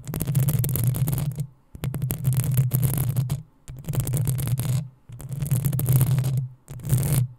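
Long acrylic nails scratch the hollow metal mesh grille of a black desktop USB condenser microphone from the front and sides. Five separate bursts of close, rasping scratching are heard, each with a heavy low throbbing rumble and a bright, gritty hiss, split by short silent gaps.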